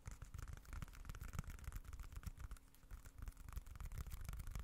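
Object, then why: Leather wallet. Fingertips scratch and tap a small, dark, folded, leather-look wallet held close to the microphone. The result is a quiet, continuous stream of soft scratching and rapid, muffled taps with dull low thumps underneath and faint, bright scraping texture on top.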